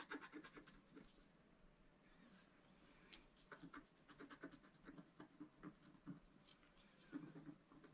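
A wooden stylus scratches the coating of a black-coated scratch-art card lying flat on a table. Quiet bursts of short, dry scratching strokes come in quick runs, with a softer, steadier rubbing stretch in the middle of the clip.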